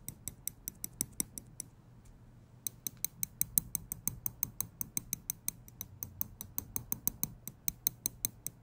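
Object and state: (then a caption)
Metal tweezers. The tips of a pair of small steel tweezers are clicked and flicked with fingers, making a steady run of about forty sharp, bright metallic ticks. There is a brief pause of about a second near the start. Each click stops instantly over a faint low hum.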